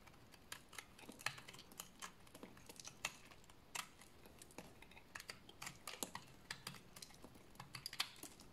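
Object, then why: Bar of soap shaved with a blade. A solid bar of dry orange-brown soap, held in the hands, is shaved with a utility blade, and crunchy flakes fall off. The result is a rapid, uneven series of short, crisp, bright scraping crunches that die away almost instantly over a quiet background.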